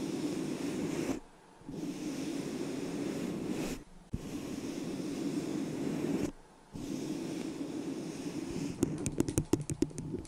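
A small, hollow, empty white disposable plastic cup held over the microphone gives off a steady, muffled, hollow rushing tone that cuts out briefly three times. In the final second and a half, long nails lightly tap the cup in a quick run of sharp, bright clicks.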